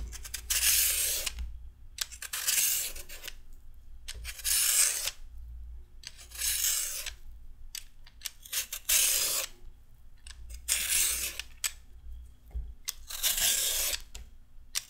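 A metal peeler is drawn along a small raw carrot piece, making seven bright, rasping scraping strokes separated by short pauses, over a faint low hum.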